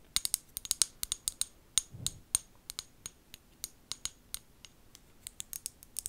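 Long gold nails tap and scratch the glass body of a small amber glass bottle with a white plastic lid. The result is a quiet, steady series of sharp, bright clicks that die away almost instantly, with a brief soft, low rub partway through.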